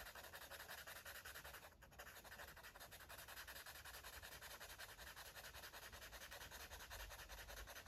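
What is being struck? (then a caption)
Paper coloring book page rubbed with a felt-tip marker. A red felt-tip marker is rubbed quickly back and forth over a paper coloring book page to color in an airplane drawing, while the other hand holds the page flat. The result is a steady, dry, scratchy hiss with a bright papery texture, pulsing with each stroke and dipping briefly near the two-second mark.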